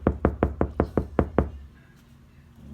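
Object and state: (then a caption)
Solid-sounding damped car door. A steel car door treated with KilMat sound deadening mat is knocked on eight times in a quick, even series, each knock a short, dull, low thud with almost no ring. The door sounds solid, and the knocks stop at about 1.5 seconds, leaving a faint low hum.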